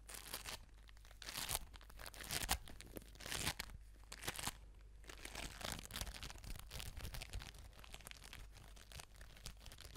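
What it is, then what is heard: Foam bead ball. An orange foam bead ball is squeezed and rubbed between the palms and scratched with long nails, making a continuous bright crinkling, crunching texture. Irregular louder bursts rise and fall throughout, and a faint low hum sits beneath.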